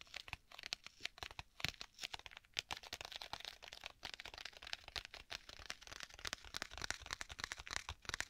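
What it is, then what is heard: Leather tablet case. Fingertips tap and scratch the cover of a black stitched leather tablet folio case held close to the microphone. The result is dense, crisp, crackly tapping and scratching, mostly bright and high-pitched, with quick dry clicks and little low end.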